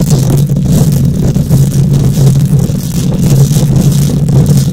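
Long nails scratch the bare metal wire-mesh grille of a microphone head. The result is a loud, continuous low rumble with a steady hum around 133 Hz, overlaid with faint, rough, bright scratching that pulses as the nails drag across the mesh.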